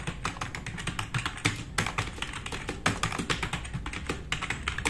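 Fast typing with both hands' fingertips on a black, RGB-backlit, tenkeyless plastic mechanical keyboard with plastic keycaps, resting on a wooden desk. A rapid, uneven stream of bright, clacky keystrokes rides on a low, hollow thud beneath each press. Each click stops almost at once, with no ringing.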